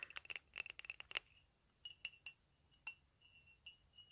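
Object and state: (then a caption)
Ceramic mug, empty. A medium, empty white ceramic coffee mug with black "COFFEE" lettering is held in the hand and tapped with fingernails and fingertips. About a dozen quiet, bright clinks sound, fast at first and then more spaced out. Each has a clear ringing tone near 2.8 kHz that dies away almost instantly.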